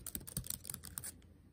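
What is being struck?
Plastic laptop keyboard keys.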